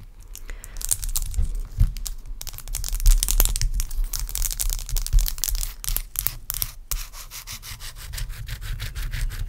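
Very long acrylic nails scratch and tap across a large, clear, solid block of ice resting on a towel. The result is a dense, irregular stream of quick, bright scratchy clicks and rasps over a steady low rumble, with brief pauses before the scratching resumes.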